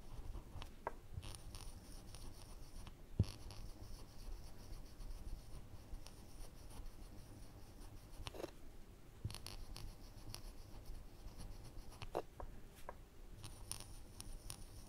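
A woodburning pen's wire tip is scratched and dragged across a flat, thin plywood panel, filling in a lens of the glasses on a pyrography skull design. Quiet, steady scratchy rubbing continues throughout, weighted toward low tones, with a few faint sharp ticks.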